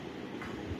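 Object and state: Nothing is struck.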